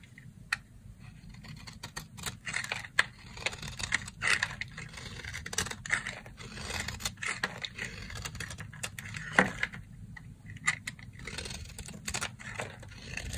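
Three small, dry, cream-colored soap bars (round, star and heart) are joined in a stack and held in a hand with long red nails while a red box-cutter blade carves and scrapes them into curls. Dense, crisp scraping and cutting crackle throughout, bright and dry with little ring. A few sharper snaps stand out above a steady low rumble.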